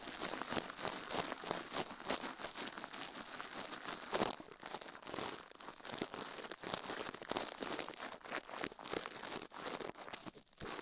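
A gloved hand brushes and scratches the soft silicone ear of a binaural microphone, mounted on a metal plate, fast with a plastic toothbrush while the other gloved hand rests still. The result is a dense, continuous crinkly scratching with bright, hissy bristle texture and almost no low end, swelling briefly louder around four seconds.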